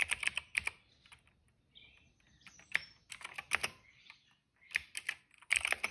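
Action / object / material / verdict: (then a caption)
tap / plastic mechanical keyboard / plastic / none. Fingertips type on the keycaps of a plastic retro mechanical keyboard resting on a rug. The bright, clacky keystrokes come in quick bursts separated by short pauses, each click sharp and dry with almost no ring.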